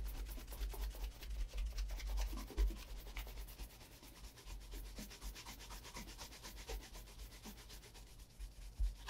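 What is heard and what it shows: A brown leather Allen Edmonds Margate Oxford shoe with a wooden shoe tree inside is held in the hand and brushed repeatedly along the upper with a wooden-backed horsehair shoe brush. Steady, uneven rubbing strokes come in a quick rhythm, mostly dull low thumps with a faint bristly hiss over them, and a few louder knocks stand out.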